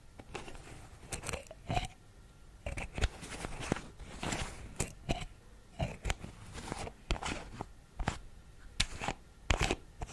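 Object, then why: Small plastic pill bottle with screw cap. Fingertips and nails tap and scratch the screw cap and label of a small white plastic Vitrum pill bottle held near the microphone. The hollow container, fill level not visible, gives a rapid, uneven run of short, dry clicks and crunchy scrapes with bright edges and a low thump beneath. The sounds die away almost instantly between touches.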